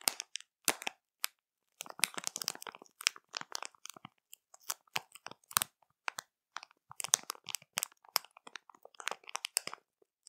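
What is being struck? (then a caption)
Plastic snack bag. Long matte nails of both hands tap, press and scratch the film of a full, printed plastic marshmallow bag. Quiet bursts of bright, dry crinkling and crackling come in irregular clusters separated by short silences, with almost no low end and no ring after each touch.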